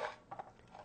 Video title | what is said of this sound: Dehydrating and Drying Fruits and Veggies (A Step-by-Step Tutorial) | berries should be dried until they rattle when shaken